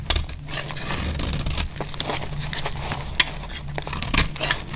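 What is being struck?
Bar of soap scraped with a metal blade.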